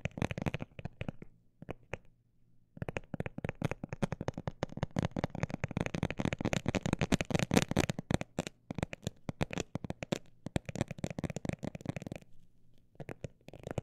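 A textured cosmetic bag is tapped rapidly with fingertips, making dense bursts of short, dry, crinkly taps. The taps pause briefly near the start and again near the end, and the sound stays soft and low-heavy with almost no ring.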